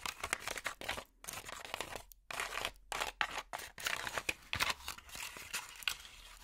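Plastic finger picks scratch a light, hollow, honeycomb-textured cardboard packaging insert. The result is dense bursts of dry, bright, crackly scratching broken by brief silent gaps, with almost no low end and no ring after each stroke.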